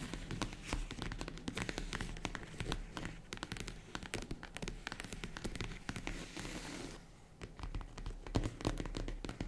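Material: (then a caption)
Faux leather. Long nails tap quickly on the top and side of a small tan faux-leather zippered jewelry case, which is likely hollow. A dense run of crisp, dry clicks carries a dull low thump underneath, dipping briefly quieter near the seven-second mark before picking up again.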